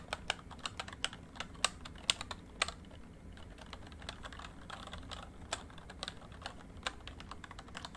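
Fingertips type on a full-size plastic MSI backlit membrane keyboard, producing about 25 quick, bright key taps with very short decay over a low, soft background. The taps come in an uneven run, with a few sharper, louder strikes early on and a quieter, steadier stretch after.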